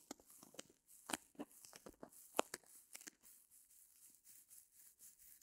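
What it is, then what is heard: Reticulated foam block scratched with nails. Long nails scratch and press a small white solid reticulated foam block held in both hands. Quiet, dry crackling and tearing scratches come in short, irregular bursts with a bright, airy hiss and almost no low end, and the last few seconds fade to soft, faint rustles.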